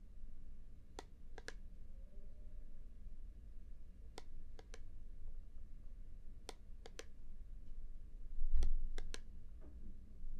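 A small hollow plastic Star Wars-themed puzzle cube, held in both hands right above a binaural microphone, is tapped and clicked by fingertips, possibly as its layers are turned. Sharp, bright clicks come in short, irregular clusters of two or three over a steady low rumble.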